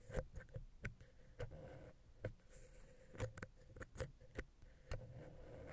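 A wooden ear pick taps and scratches the top of a small, hollow, silver metal X/Y microphone capsule on a Zoom H6. About a dozen quiet, dull, low-heavy taps land at uneven intervals, each dying away almost instantly, with a faint hollow tone near 500 Hz. Soft scratching fills the gaps between them.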